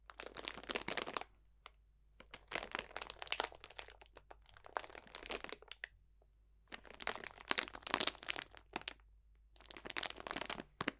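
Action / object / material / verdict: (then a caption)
scrape / cellophane bag of dried botanicals / plastic, dried plants / none. A clear cellophane bag full of dried potpourri botanicals is squeezed and crunched with both hands. Five bursts of bright, crisp crinkling and crackling are separated by short quiet pauses, with almost no low end.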